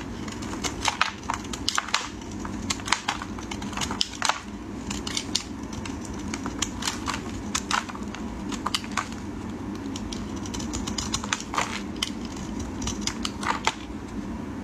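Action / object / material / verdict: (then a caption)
scrape / bar of soap / soap / none. A solid white soap bar held in gloved fingers is scraped with a metal utility blade, shaving off dry flakes. Quick, sharp, crackly scrapes burst out bright and dry again and again over a steady low background hum. Each stroke cuts off almost at once with no ring.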